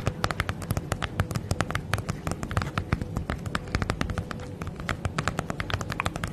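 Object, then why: Padded plastic mailer bag. Long nails tap quickly and scratch across a holographic padded plastic bubble mailer bag. The result is a rapid, uneven stream of sharp, short crinkly clicks over a steady low rustle, with each tap dying away almost at once.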